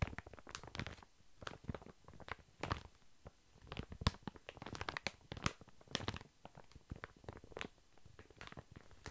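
A large, full, soft pack of baby wipes wrapped in thin plastic film is held upright and tapped and scratched with long fingernails. The result is a quick run of short, dry crinkling taps and scratchy rustles with bright, crisp edges over a soft low thud from the pack. Brief pauses break up the run.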